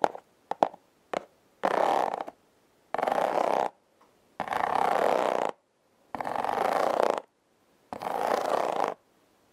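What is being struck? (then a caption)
Corrugated cardboard heart-shaped box. Long nails and fingertips slowly scratch and rub the ribbed surface of a flat, hand-sized red corrugated cardboard heart, possibly a hollow heart-shaped box. A few short, quick scrapes open the clip, followed by five long, raspy rubbing passes with pauses between them. Each pass is a dry, textured scratching sound centered in the midrange with a bright hiss on top.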